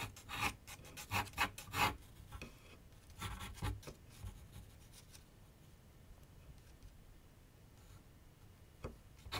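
A pencil tip scratches sketch lines across a large white paper sheet mounted on a board on a wooden easel with solid backing. Quick, bright, raspy strokes come in bursts over the first few seconds, then fade to faint scratching, with one sharp stroke near the end.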